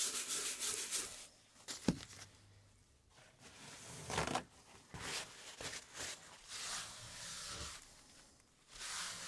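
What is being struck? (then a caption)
Layered wooden typewriter base board. Gloved hands wipe and rub the flat, solid, layered wooden base board of a 1908 typewriter, which has holes in it. The strokes come as bright, hissy, scraping bursts with quiet gaps between them, plus one short, sharp knock early on.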